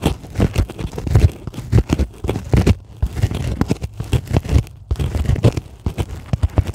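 Long acrylic nails scratch and tap a white polyethylene packing foam sheet lying on a table. The result is a dense run of quick, dry crinkling taps and squeaky scrapes, mostly low and thumpy with faint bright edges, each hit dying out almost at once.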